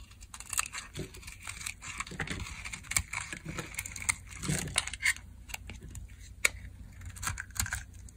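A solid, hand-sized, dry blue Coast soap bar, held in a palm with long nails, is carved and shaved with a metal blade. Brittle dry flakes break off in quick, crisp scrapes and crackles. The sound is bright and dry, with short, sharp snaps and little ring.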